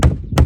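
A hammer taps twice on a cracked swimming pool step, giving two short, deep, dull thunks that die away almost at once. The step sounds hollow, with a void beneath it that is to be filled with expanding foam.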